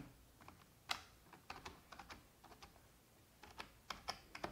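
Long red-painted nails and fingertips of both hands tap the hollow keys of a full-size black plastic computer keyboard. Irregular, quiet, bright plastic clicks come in loose clusters, each dying away almost at once.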